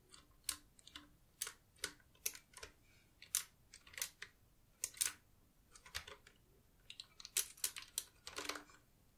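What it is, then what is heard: Mechanical keyboard with plastic keycaps being typed on. Fingertips with long nails type continuously on a black, retro typewriter-style Qwerkywriter S mechanical keyboard with round plastic keycaps. The result is a steady run of sharp, bright clicks and taps with very short decays, separated by brief pauses.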